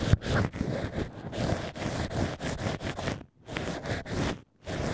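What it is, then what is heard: Cork stoppers scratched with picks. Two black ear picks scratch inside the drilled holes of two cork wine-stopper "ears" at the same time. The sound is a run of soft, dry, rustling scrapes, heaviest in the low range, with brief pauses between bursts of scratching.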